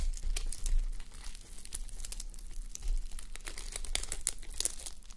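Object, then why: Sequin-covered fabric sleep mask. Fingertips and long manicured nails scratch and brush a fabric sleep mask covered in plastic reversible sequins, resting on a white mannequin head. The result is a dense, quiet run of crinkly clicks and bright, crisp ticks as the sequins flip, over a soft low rumble.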